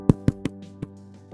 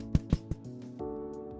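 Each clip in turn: First: Four short, dry knocks on a crusty loaf give a hollow, papery thud like a cardboard box. Second: Three soft, low thuds with no ring: a bread loaf with a soft crust, not hollow.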